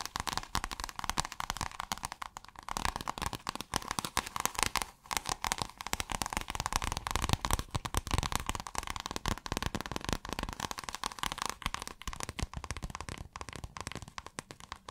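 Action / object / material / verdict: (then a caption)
scrape / scale-textured iridescent fabric / fabric / none. Long acrylic nails scratch pale blue scale-textured iridescent fabric that has been rolled and then folded. The result is a dense, continuous crackling, scratchy texture with a steady tone around 1 kHz and bright, crisp edges. It holds a fairly even level throughout, with only a brief dip near the five-second mark.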